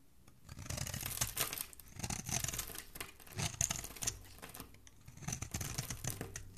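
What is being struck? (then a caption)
Bar of soap. A flat metal blade scrapes and carves a small, solid pink bar of soap with a ridged edge, held in one hand, shaving off curls and flakes. The result is a series of dry, crackly scraping strokes with a bright, hissy texture and soft low thuds, separated by brief quiet pauses.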